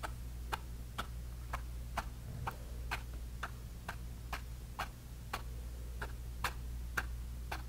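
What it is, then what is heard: Brush stippling on a canvas panel. A bristle brush repeatedly taps grey paint onto a small canvas panel in a stippling motion. Each dab is a short, dry tick with a bright, papery edge, coming at a steady, roughly even pace. A constant low hum sits underneath throughout.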